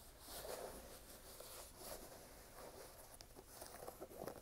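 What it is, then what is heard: Rubber sneaker sole. Fingernails scratch and tap on the brown waffle rubber outsole of a red sneaker in close-up, making soft, dry scratching and light tapping sounds. Quiet rustling texture fills the clip, with a few brief, sharper taps standing out toward the end.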